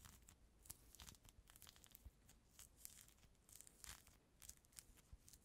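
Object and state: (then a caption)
Peeled orange being scratched. A small, solid, whole mandarin orange with its peel already removed is held right at the microphone while fingertips and nails scratch and peel the white pith and membrane from its surface. The result is quiet, close, continuous tearing and crinkling, with bright sharp crackles over soft low rubbing thumps.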